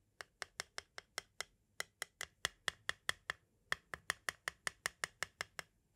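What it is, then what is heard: Plastic audio cassette. A pointed tool rapidly taps and scrapes the face of a small, hollow, white hard plastic audio cassette shell. The result is 27 sharp, dry clicks in quick runs separated by short pauses, each with a bright, hollow tone around 1.9 kHz that dies away almost instantly.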